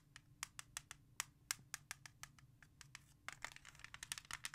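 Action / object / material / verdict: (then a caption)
tap / plastic CD jewel case / plastic / none. Long nails work over a hollow plastic CD jewel case, scratching its front and then tapping its back after it is flipped over. Quiet, bright, clicky taps and scrapes sound in a quick irregular run, each dying away almost at once. The last second grows busier and scratchier, with clustered clicks and rasping bursts.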